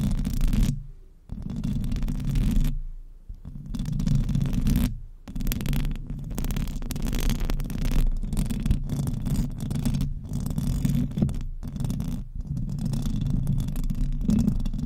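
Long acrylic nails on both hands scratch the hollow metal mesh head of a silver microphone. The result is a dense, continuous, low rumbling scratch centered near 141 Hz, with almost nothing bright above it. It pauses briefly near 1, 3 and 5 seconds, then runs nearly unbroken to the end.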